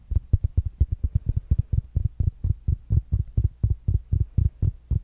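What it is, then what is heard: Fabric-covered smart speaker. A small, rounded black smart speaker with a fabric mesh cover is tapped with fingertips and nails. About 26 quick, dull, low thuds come in a fast, uneven rhythm, each dying away almost at once with no ring.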